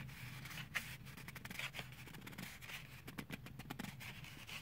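Medium fingernails scratch and tap along the clear plastic shell and cardboard backing of a handheld toothbrush blister package. The result is a steady, bright scratching texture broken by many quick, crisp clicks and taps, with a faint low hum underneath.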